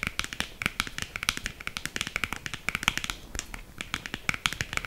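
Long green acrylic nails rapidly tap a small, narrow, hollow black printed cardboard box for a liquid lipstick. Quick, dry, clicky taps run steadily for about five seconds, bright and high-pitched with a papery hollow knock, and each one dies away almost at once.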